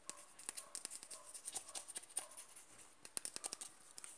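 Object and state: Plastic cream jar.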